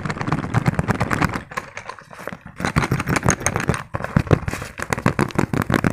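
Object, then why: Small padded fabric zipper pouch. Fingertips tap fast on a small, padded green fabric pencil case with a zipper. The result is a dense run of soft, muffled, mostly low thuds with brief crackly edges. The taps ease off and quiet briefly midway before picking back up.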